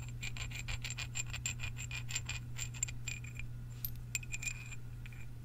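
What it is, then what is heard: Steel lag bolts clinked together. Two long, solid galvanized steel lag bolts with hex heads are held in both hands by the fingertips and rubbed and clinked against each other along their threads. The result is a quick, uneven run of bright, short metallic clicks and thread scrapes over a steady low hum. The clicks thin out into sparser, ringing taps toward the end.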